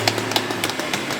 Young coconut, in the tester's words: Bunyinya plek plek plek bukan ting ting ting ya?